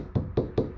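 Four short, dull knocks on the glass under-hood light of a C4 Corvette, which in the 1994–1996 model years switched from plastic to glass under-hood lights. Each knock is a low, muted tap that dies away almost at once.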